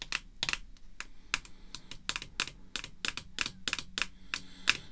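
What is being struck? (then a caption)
Hard clear plastic card slab tapped with fingernails. Red artificial nail tips tap rapidly and irregularly on a hard, clear plastic graded slab holding a vintage baseball card, resting on black cloth. Each tap is a short, crisp, bright click that dies away almost instantly, with its main tone around 2.7 kHz and little low end.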